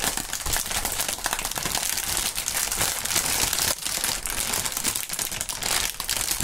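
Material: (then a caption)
Plastic film. A long strip of clear, printed polyethylene air-cushion packaging film (plastic air pillows) is twisted and crinkled by both gloved hands. It makes a dense, continuous, bright crinkling and crackling that stays steady for about six seconds, with little low end.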